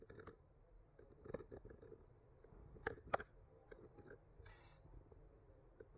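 A thin bamboo skewer, held in the fingertips with a clip mic attached to it, slowly traces the painted lines of a flat solid wooden board decorated with white branches and pink blossoms. Quiet, dry scratching drags along the surface, broken by a few sharper ticks and clicks, the strongest pair just before and after the three-second mark, each dying away almost instantly.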